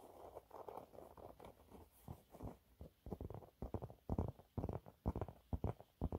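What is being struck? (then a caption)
Waffle-textured fabric cleaning cloth. A yellow waffle-textured cleaning cloth is held upright while nails scratch across its surface. The result is soft, dull scratching and rubbing that builds from a hazy patter into a run of short, uneven bursts. The sound is mostly low and muffled, with little bright content.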